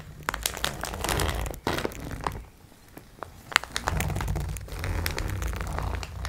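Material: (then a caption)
Plastic film. Long nails scratch and tap the plastic wrap of a multipack of sponge cloths resting on a wooden table, one hand moving toward the edge of the label. Dense crinkling and crackling fill the clip, punctuated by sharp, dry taps over a steady low hum. The sound dips into a brief quieter stretch midway before the scratching picks up again.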